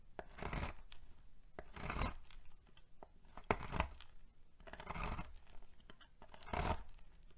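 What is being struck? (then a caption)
Bar of soap shaved with a metal knife. Fingertips with long painted nails hold a solid peach bar of soap on a marble surface while a metal knife shaves thin curls off its end, leaving a pile of soap shavings. About five drawn-out, crackling scraping strokes are heard, each a soft, broadband, low-heavy rasp, with small sharp clicks in between.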